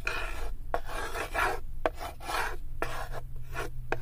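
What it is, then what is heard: Small wooden block scraped in a wooden tray. A small, solid light-wood cube, held in the fingertips, is scraped back and forth across the floor of an empty, unfinished wooden tray, with long nails also touching the wood. The result is a series of dry, raspy scraping strokes separated by brief pauses and occasional sharp ticks, over a steady low hum.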